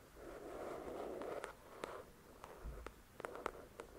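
Long pointed dark red nails scratch and tap the glossy card cover of a paperback novel, 'The Shack', with solid paper pages, lying flat on a fluffy white cloth. A soft, steady scratching hiss fills the first second and a half, then eases as about nine crisp, quick nail taps click out over the rest of the clip, each dying away almost at once.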